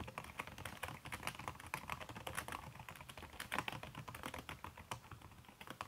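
Fast typing with fingertips and long red-painted nails on a backlit aluminium laptop keyboard with a red silicone skin over its plastic keys. A rapid, steady stream of soft, muffled clicks and taps is heard, each brief and dry with a clear mid-range tone and some bright edge.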